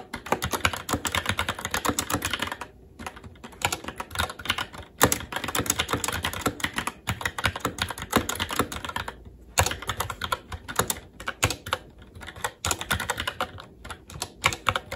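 Fingertips of both hands type continuously on a SteelSeries Apex 7 TKL mechanical keyboard with red linear switches, black plastic keycaps and an aluminum plate. The rapid key taps give a dense stream of short, crisp clacks, with brief pauses near 3 and 9 seconds.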